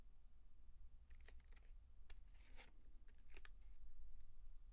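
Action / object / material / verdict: scrape / plastic blister pack holding chalk sticks / plastic / none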